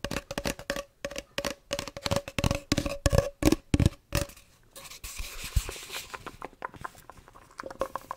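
Fingers and nails tap and scratch the surface of a hollow, empty cardboard tube about 20–30 cm long, held next to the microphone. For the first four seconds, quick, dry, hollow taps come in an uneven rhythm with a faint resonant tone. They then give way to softer, denser scratching with a brighter, hissy texture.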